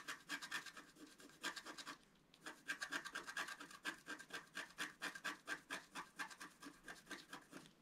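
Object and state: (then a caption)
Scratch-art paper being scratched. A wooden stylus scratches and rubs the coating of a flat, black wax-coated scratch-art paper sheet, about A4 in size, lying on a table, in short strokes. Quick, fairly regular dry scratches are heard at a brisk pace, bright and rasping with a strong band around 1.8 kHz and almost no low end. The scratching pauses briefly around the two-second mark before resuming.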